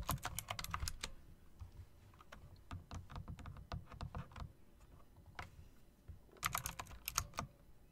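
Long dark nails and fingertips click the round plastic keycaps with chrome rims on an RGB plastic-and-metal typewriter-style mechanical keyboard. Quick bursts of bright, sharp key clicks over a low thump open the clip and return near the end, with sparser, softer taps in between. Each click dies away almost at once.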